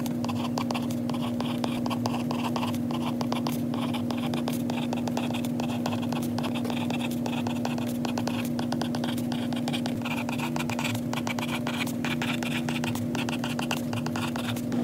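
A stylus tip taps and scratches steadily across a glass iPad screen in a white case while handwriting notes. Dense, quick clicks and short scrapes run throughout over a constant low hum.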